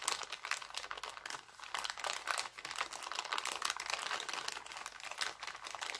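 Fingers crinkle and fold an empty, thin, clear heart-printed cellophane bag, giving a steady stream of dense, crackling crinkles. The sound is bright and papery, with almost no low end, and each crackle dies away at once.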